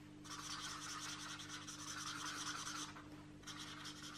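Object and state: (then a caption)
Marker rubbed on a paper coloring page. A marker tip is rubbed and scratched rapidly over the paper page of an open paperback coloring book lying flat, while the other hand steadies the page. The result is a bright, hissy, fast scratching with a steady low hum underneath. It breaks off briefly near the end and then resumes.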